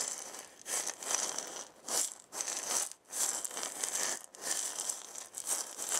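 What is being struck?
Wooden maraca with loose filling.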